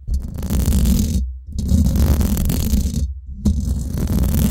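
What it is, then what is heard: Metal mesh microphone grille being scratched. Long acrylic nails scratch and tap the hollow domed steel mesh grille of a Blue Yeti microphone. The result is three bursts of dense, rumbling, crackling scrapes, heavy in the low end with a faint bright hiss above, separated by two brief silences.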